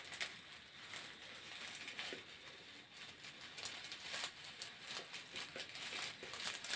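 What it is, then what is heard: Corrugated plastic hose. Fingernails scratch along the ribs of a long grey corrugated plastic hose, hollow and flexible, close to the microphone. Dry, bright crinkling scrapes with quick ticking clicks come in uneven bursts, almost entirely high and treble-heavy with almost no low end.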